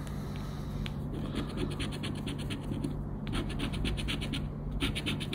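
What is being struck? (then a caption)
Coated paper scratch card scraped with a plastic scraper. A round black plastic scraper rubs the central scratch area of a thin coated-paper Roda dos Prémios scratch card lying flat on black cloth. Quick, repeated rasping strokes make bright, papery scratching over a steady low hum, with brief pauses between bursts of scraping.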